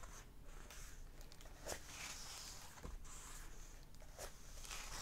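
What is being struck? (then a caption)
Paper pages of a hardback book. Fingertips and nails rub and scratch across the paper pages of an open hardback book. A soft, steady papery hiss with bright sheen continues throughout, broken by a few short, sharper scratches over a faint low rumble.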